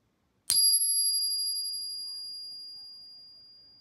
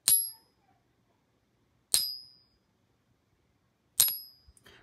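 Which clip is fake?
The second.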